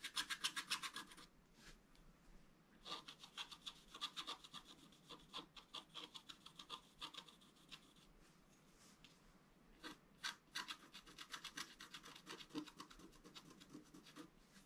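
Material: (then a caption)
Coated paper. A wooden stylus scratches lines into the coating of a black-coated scratch-art paper card lying on a table, working at the top and bottom of a fountain picture. Quick, bright, dry scratching strokes come in rapid bursts with short quiet gaps between them, each stroke crisp and dying away at once.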